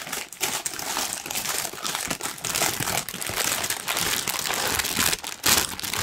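A large, thin pink tissue paper sheet is held up and rumpled and crinkled by hand. It makes a steady, dense stream of bright, papery crinkles and soft crunches with little low end. The rustling keeps going through the whole clip, with brief dips and swells.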